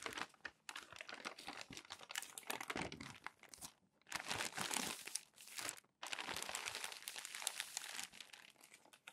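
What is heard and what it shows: Hands smooth, rub and fold crumpled glossy magazine sheets on a stack, making dense, bright crinkling and crackling that comes in bursts. Three main stretches of rustling are split by brief near-silent pauses around 4 and 6 seconds. The sound is crisp and dry, with almost no low end and no ring after each crackle.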